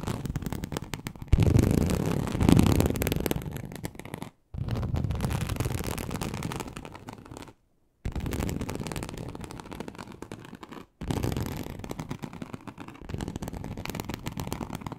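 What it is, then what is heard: Snakeskin-textured leather sheet. Very long acrylic nails of both hands scratch a large, flat, teal snakeskin-embossed leather sheet, likely faux, that lies on a surface. The result is a dense, low, rough scratching texture in bursts, with brief silences between them. The scratching is loudest near the start, and each burst fades as it goes on.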